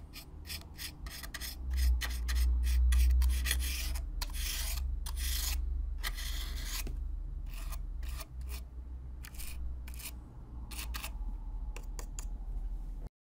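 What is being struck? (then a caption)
Corrugated cardboard box. A black plastic-bristle brush with a foam-covered handle sweeps and scratches across the flat surface of an empty-looking, hollow, corrugated brown cardboard box. Quick, bright, raspy strokes repeat at a fairly steady pace, with a few longer, louder sweeps, over a constant low rumble.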